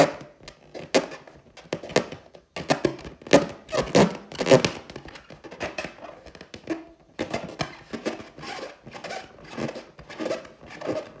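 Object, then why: Inflated latex balloon tapped and scratched with long nails. A large inflated clear latex balloon with a gold pineapple print, hollow and air-filled, is scratched and tapped by long teal acrylic nails. Irregular soft taps and scratchy rubs land in quick clusters, each with a short hollow, rubbery ring centered in the mids.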